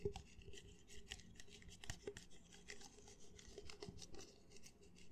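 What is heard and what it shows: Fingernails scratch the outer wall of an empty, hollow red plastic party cup. Soft, irregular rasping strokes carry a bright, hissy edge over a faint hollow tone near 400 Hz. The scratching stays quiet and uneven throughout.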